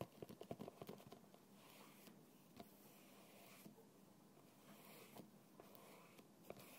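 A fingertip taps the side of a small translucent plastic bottle with a red plastic cap, lying on its side on a table and partly filled with clear liquid. A quick flurry of soft, dull taps comes first, followed by a few isolated taps spaced apart over a quiet, hissy background. Each tap is short with almost no ring.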